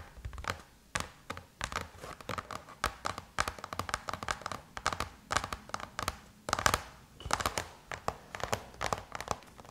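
Long chrome-painted nails scratch and tap on the closed lid of a silver aluminum MacBook, making a rapid run of sharp, bright clicks with a faint metallic ring around 1.2 kHz. Soft scratchy rustling fills the gaps between taps, and each tap dies away almost at once.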